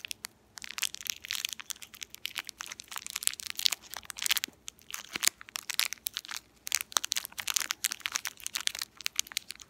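An empty, small, purple, shiny metallized foil-plastic candy wrapper with crimped ends is crinkled and rubbed between fingertips with long painted nails. The result is a steady stream of dense, bright, crisp crackles and sharp snapping crinkles, with almost no low end and no ringing after each crackle.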